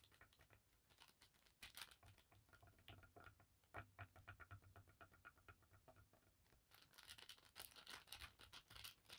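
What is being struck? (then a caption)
Thin cotton bandana on a table. A navy blue paisley cotton bandana of thin fabric lies spread flat on a table while long dark nails scratch and tap the cloth with both hands. Quiet, dense, dry scratches and light pattering taps follow one another quickly, bright and high with little low end. A faint low hum sits underneath, and the scratching grows busier near the end.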